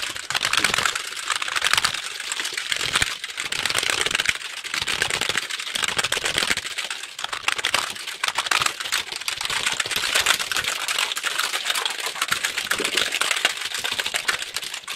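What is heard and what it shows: A full-size black plastic computer keyboard with a hollow body is held up close to the microphone while fingertips rapidly press and tap its keys. The result is a dense, continuous stream of short, bright plastic clicks and clacks with almost no low end and very little ring after each keystroke.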